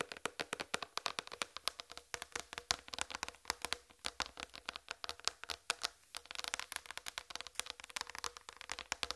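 Long red fingernails tap rapidly across the surface of a large, flat white plastic tray. The result is dozens of quick, dry, bright clicks with almost no ring, broken by a brief pause near the six-second mark before the tapping resumes.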